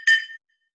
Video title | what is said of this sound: 6th Grade. Music. 3/24/20 | this one is made out of metal it's for camping so when I play it it makes a really different sound